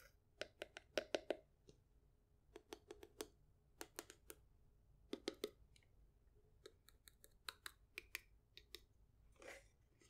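Long acrylic nails tap and scratch a small hollow wooden treasure chest with a domed lid and metal latch, held in the hand. Quick, dry clicks come in uneven bursts, each with a hollow, woody knock and a bright nail tick that stops instantly. A softer scratching rustle follows near the end in a quiet, close space.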